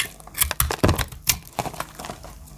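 A small metal blade cuts a solid pastel marbled dry soap bar held in the hand into chunks and flakes. The result is a series of short, dry crunching cuts with bright, crisp edges and soft low thuds, each fading quickly between strokes.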